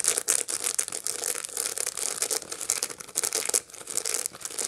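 A dried sunflower head with its seeds still attached is held in both hands and scratched with long light-blue nails. The result is a steady run of dry, crackly, brittle scratching and rustling that is bright and high-pitched, with almost no low end. The bursts come in quick, uneven waves, with short, clicky edges that stop almost at once.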